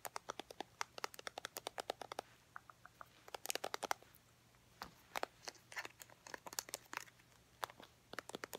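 A small, travel-size Eucerin lotion squeeze tube, made of white soft plastic with a red plastic cap and apparently full, is handled and tapped with long painted nails and fingertips. Quick, dry, clicky taps come in rapid bursts with a short pause midway, each one bright and stopping instantly with no ring.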